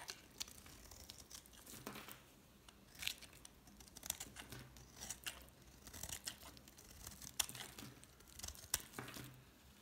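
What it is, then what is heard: Bar soap shaved with a blade. A utility knife blade shaves and scrapes curls off a solid green bar of soap held in one hand, with flakes falling onto a plastic tablecloth beside a blue piece. The sound is a series of quiet, dry, bright scratching and crinkling strokes with short sharp peaks. Each stroke stops almost instantly.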